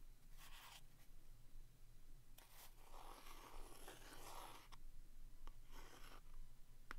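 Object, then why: Small cardboard box tapped and traced with a wooden stick. A wooden stick taps and traces across the front of a small red printed cardboard box of vintage Neva-Clog staples held in the hand. Soft, dry scratching strokes alternate with a few light taps, all quiet over a steady low hum.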